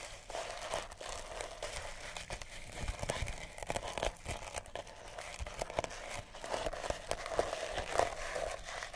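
A small, solid oval cat toy wrapped in pink, purple and cream sisal rope is scratched with long natural nails. The result is a steady, dry, crinkly rasping made of many quick scratchy clicks over a fibrous hiss that reaches into the highs, with a slight midrange tone around 680 Hz. Sharper strokes stand out toward the end, and each one dies away almost instantly.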